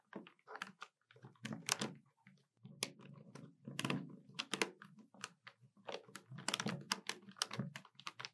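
Long white-polished nails tap the keys of a hollow black plastic Citizen desktop calculator lying flat on a table, using several fingers and resting on its body. The result is quiet, bright, dry clicks in quick irregular bursts with short pauses, each tap dying away almost instantly.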